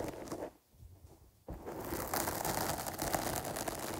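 Long nails scratch across the top of a medium-sized, dark porous foam microphone windscreen while the other hand holds its side. The result is a dense, rustling scratch with a broad hiss reaching into the high range. After a brief near-silent pause, it returns louder and continues steadily to the end.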